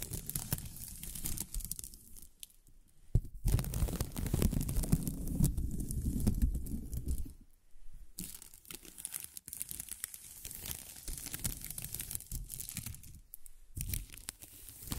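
A pink translucent plastic film ribbon tape hangs in front of the microphone and is rubbed and crinkled between the fingers. The result is a dense, crackling rustle with a deep, muffled low end, broken by brief quiet pauses, and it swells louder and fuller in the middle.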